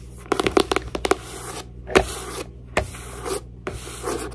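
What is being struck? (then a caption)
Paper journal. A paper journal is tapped and scratched, with sharp taps clustered early and then spaced out between soft, papery scratching passes. The taps are short and dry with little ring, and the scratching covers a broad, bright hiss.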